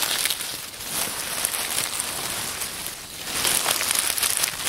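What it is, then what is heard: Dry oak leaves being crumpled. Hands crumple a pile of dry brown oak leaves on a wooden table, then pat and rustle them. The result is a steady, dense, bright crackling rustle with almost no low end, easing slightly around the middle before swelling louder again near the end.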